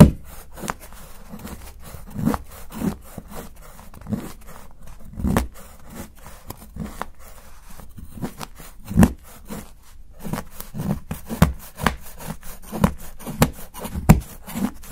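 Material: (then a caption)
Chocolate. A solid milk chocolate bar is held under the fingertips while a steel knife saws and scrapes fine shavings from its edge. Short, dull scraping strokes repeat throughout, soft and low-heavy with little brightness, with occasional louder cuts standing out.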